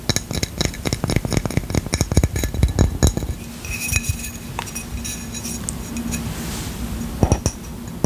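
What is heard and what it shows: Quick tapping and scratching on a ceramic coaster gives sharp, glassy clinks for about three seconds. It settles into a steadier scraping with a faint high screech, and a couple more clinks come near the end.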